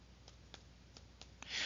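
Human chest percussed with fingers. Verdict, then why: Dull. Chest percussion demonstrating a decreased, dull percussion note associated with pneumonia: five soft, short taps with little ring, followed by a brief breathy hiss at the end.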